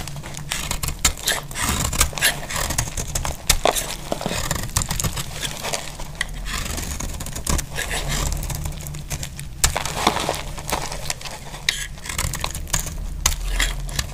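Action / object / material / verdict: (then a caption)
scrape / soap bar scraped with a metal blade / soap / none. A metal utility blade scrapes shavings off a solid, dry green soap bar held in the hand. Rapid, dry scraping and crackling strokes run throughout with bright, gritty texture. A steady low hum sits underneath.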